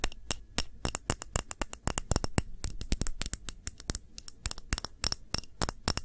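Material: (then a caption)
Glass. A small round clear glass candle holder with red layered contents, held tilted in one hand, is tapped and scratched with long manicured nails. Sharp, bright clicks come in a fast, irregular stream, each dying away almost at once, with faint scratching between them.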